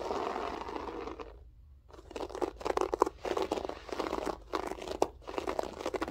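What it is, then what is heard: Loop-pile carpet. Long acrylic French-tip nails scratch and claw at a flat beige loop-pile carpet with a textured loop pile. A steady rough scratching fades into a brief near-silence. Dense, crunchy bursts of raking and plucking follow, with short pauses between them.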